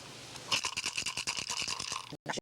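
A turtle shell rattle, filled with a measured handful of smooth pebbles and with its opening closed, is shaken to check whether it sounds right. After a faint hiss, it gives a rapid run of bright, dry rattling pulses, then a brief silence and a final short shake. The rattle sounds as it should.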